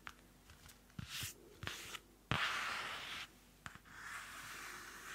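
A small pocket-size pink notebook with a card cover, a white Pantone label and a solid stack of pages is handled by hands with long manicured nails. Its pages are flipped and its cover is scratched. Sharp taps and soft rustles give way to a loud, bright papery rush near the middle, then a steady hiss of rubbing at the end.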